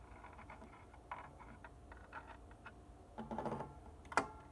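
Long dark-painted nails and fingertips tap the white and black plastic keys of a hollow, full-size upright organ keyboard in a wooden case, without playing any notes. A steady run of quiet, dry clicks is followed by a louder flurry of taps and then one sharper, brighter tap near the end.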